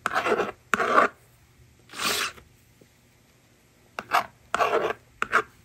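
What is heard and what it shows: A yellow plastic stylus scratches numbers onto the screen of a plastic magnetic drawing board resting on a table, and the board's slider erases them. Seven short, dry, rasping strokes of bright scratchy noise are separated by near-silent pauses.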